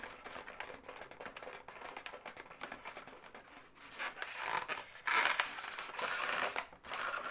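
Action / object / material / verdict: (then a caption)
scrape / inflated latex balloon animal / latex / none. Long nails tap and scratch the leg segments of a pink inflated latex twisting-balloon animal resting on a table while the hands squeeze it slightly. Quick, irregular scratchy clicks and rubbery squeaks fill the clip, turning louder and brighter toward the end.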